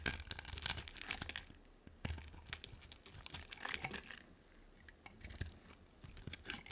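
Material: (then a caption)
Soap. A utility knife blade scrapes and carves slices from a hand-sized solid purple bar of soap with a dark coating. Bright, dry scraping and crisp crunching come in three dense bursts separated by short quiet pauses, each cut ending with no ring.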